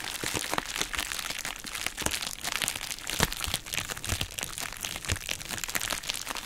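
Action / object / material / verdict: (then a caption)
scrape / plastic bubble wrap mailer / plastic / none. A hollow, empty pink heart-shaped plastic bubble wrap mailer bag is squeezed, crinkled and scratched with long nails. This makes a continuous, bright crinkling with dense crackles and a few sharper cracks and pops throughout.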